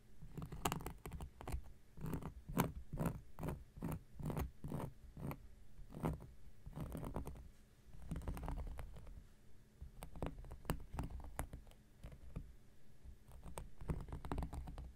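An X-Acto knife blade scratches a round, flat, solid cork coaster in a quick, irregular series of short, dry scraping strokes. Each stroke is a brief, soft, low-heavy scratch with a faint bright edge that stops almost at once, and the strokes carry on for the whole clip at a fairly quiet level.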